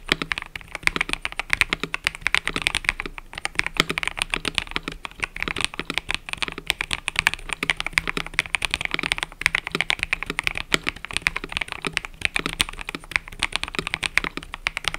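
Fingertips type continuously on a mechanical keyboard with cream and purple plastic keycaps. Rapid, bright, clacky keystrokes with very short decay follow one another steadily for the whole clip over a faint low hum.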